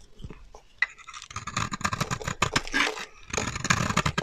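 A metal utility knife blade scrapes a solid, dry, translucent orange bar of soap held in the hand, shaving off fine crumbs. After a quiet start and a sharp click, dense bright crackling scrapes run in quick rapid strokes, pause briefly, then resume.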